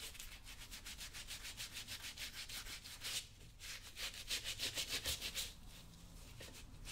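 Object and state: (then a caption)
Leather boot being rubbed with polish. Fingertips wrapped in a small blue cloth rub polish onto the toe and sides of a product-coated leather lace-up work boot worn on the foot, while the other hand steadies the boot. Quick, rhythmic, bright swishing strokes repeat at about three per second, briefly dip quieter, then return in a louder run before easing off.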